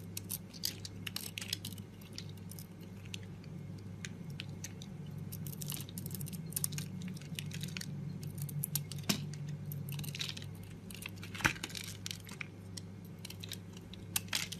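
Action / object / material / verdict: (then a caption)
scrape / bar of soap / soap / none. A blade cuts and scrapes crumbly flakes off a solid red and green bar of soap held in a hand with long pink nails. Quick, bright, crackly scratches and ticks come in uneven bursts over a steady low hum, with a few sharper snaps standing out.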